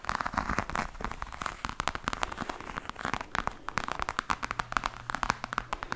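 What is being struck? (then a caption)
Croc-embossed faux leather hard case. Long nails tap and scratch across a black, glossy, croc-embossed faux leather hard case with a hollow hard shell. The result is a rapid, irregular stream of short, dry clicks over a crackly scraping texture, centred in the midrange around 1 kHz with very little ring.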